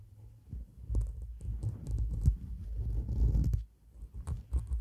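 Long black nails scratch and rub across a white shaggy faux fur microphone windscreen. The result is a deep, muffled rumbling rustle, almost all low-frequency, swelling and fading in uneven bursts with faint bright crackles on the strongest strokes.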